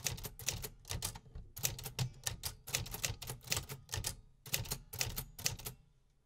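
Fingertips type steadily on the metal keys of a vintage 1950s manual typewriter. A rapid, uneven run of sharp, bright mechanical clacks, each with a low thump underneath, dies away almost instantly. The typing stops shortly before the end, leaving near silence.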